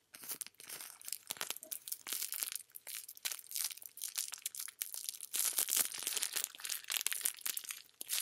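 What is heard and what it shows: A thin, clear plastic cellophane film or bag, hollow and flexible, is squeezed and crinkled by hand with fingertips close up. Dense, bright, crackling rustles come in quick overlapping bursts with almost no low end. Each crackle stops dead, with no ring.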